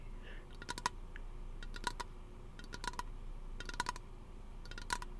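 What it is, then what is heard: Aluminium aerosol can tapped with fingernails. A small, hollow, teal aluminum aerosol lotion can is held close to the microphone and tapped and scratched with fingernails. Bursts of quick, bright metallic clicks come in clusters about once a second, each with a short ping near 1 kHz that dies almost at once. A steady low rumble sits underneath.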